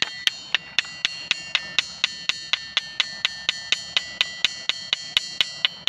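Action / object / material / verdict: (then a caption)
strike / granite boulder struck with a small stone / granite / none. A large, solid, speckled granite ringing boulder is knocked on its side face with a small stone held in the hand, 25 times at roughly two strikes per second in a somewhat uneven rhythm. Each knock gives a sharp, bright, bell-like ping pitched around 3 kHz, with almost no low end and a very quick fade.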